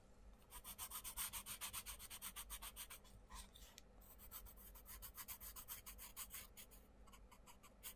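A wooden coloured pencil rubs dense back-and-forth shading strokes on a page of an open paper colouring book resting on a wooden table, while the other hand steadies the book. The quick, bright, scratchy strokes pulse at about three to four per second, ease off briefly around the middle, then pick up again.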